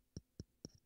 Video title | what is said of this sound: AKG C5 Handheld Condenser Microphone - Test / Review | tapping on it it's not hollow or anything like that at all handling noise